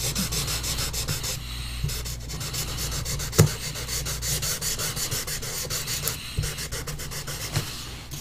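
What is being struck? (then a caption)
Pastel stick on a paper sheet. A pastel stick held in the hand rubs and scratches short strokes around the iris drawn on a large flat paper sheet resting on a board. A steady run of dry, bright, scratchy rubbing strokes plays over a constant low hum, broken by a few sharper, louder scrapes.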